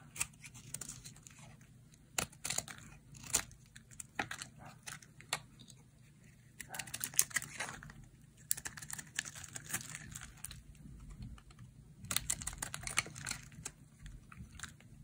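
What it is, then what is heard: Dry bar soap being shaved. A hand-sized solid bar of dry, pale yellow soap is held in the hand and shaved into thin flakes with a metal utility blade. Bright, crisp scraping and cutting strokes come in irregular bursts, some sharp and short, others longer rasping runs, separated by brief quiet gaps over a faint low hum.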